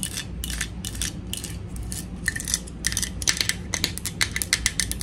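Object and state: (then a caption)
Plastic toy teapot. Long nails tap on the sides and on the sticker of a small, hollow pink plastic toy teapot held in the hands. A quick, uneven run of bright, clicky plastic taps plays over a low background hum, growing sharper and more distinct toward the end. Each tap dies away almost instantly.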